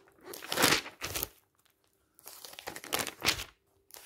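Fingertips rub and flip the glossy pages of a thick glossy paper magazine lying open. Bright, crinkly paper rustles and swishes come in bursts, with brief silent gaps between them.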